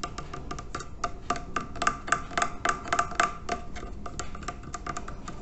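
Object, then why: Terracotta water filter. Fingertips and nails scratch and rub the curved side of a large hollow terracotta water filter with red bands and a label. Quick, irregular clicks and taps sound in a rapid stream, each with a short hollow ring near 1.2 kHz over a soft, gritty scraping. The hits die away almost instantly.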